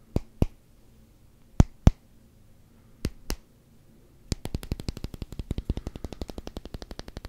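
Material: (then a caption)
Rubber. Fingertips and nails tap the face and edge of a solid black rubber hockey puck with a Canucks logo. Three spaced pairs of short, dull, clicky taps come first, then a rapid, steady run of quick taps through the end. Each tap is dry and dies almost instantly, with most of its energy low and only faint brightness.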